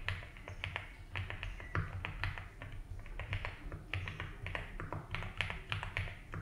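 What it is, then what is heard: Mechanical keyboard with ABS plastic keycaps. Fingertips type continuously on a compact 75% mechanical keyboard with a blue case and white and blue ABS keycaps, resting on a grey desk mat. The result is a steady stream of short, crisp clacks with bright tops and quick decay, over a constant low rumble underneath.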